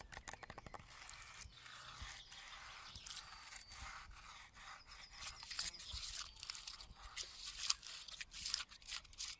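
Fingertips and nails scratch and rub the rough bark and a stripped, weathered, knotted strip of bare wood on a large, solid standing pine trunk. The result is a quiet, dry, bright scraping and crackling texture. It opens with a quick run of separate ticks, then settles into continuous rubbing with uneven swells.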